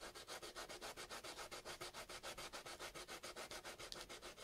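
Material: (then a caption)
Potato. A small, solid raw potato chunk held in the fingertips is rubbed rapidly back and forth on sandpaper. It makes 28 steady, gritty scraping strokes, about three to four per second, with a bright, hissy texture and little low end. It leaves a wet, grated smear on the sandpaper.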